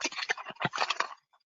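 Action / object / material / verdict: shake / bunch of metal keys / metal / none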